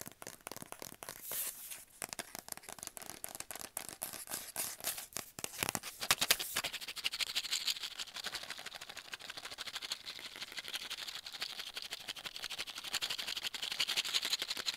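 Fingernails rapidly tap and scratch the closed end and side of a large, handheld brown kraft cardboard tube. The result is a dense, irregular stream of dry, papery clicks and scraping textures that are bright and high with almost no low end. From about 8 seconds, the scratching settles into a steadier hiss under the taps.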